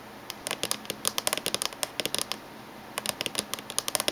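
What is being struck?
Laptop casing, plastic or metal shell.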